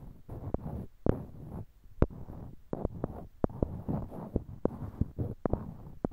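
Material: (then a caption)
Wood. Small, solid, light-colored wooden cubes are held in pairs in each hand close to a binaural mic, and fingertips click and knock one block against another. About seventeen sharp, dry knocks rise over a soft, low rubbing and shuffling bed. Each knock dies away almost instantly with no ring.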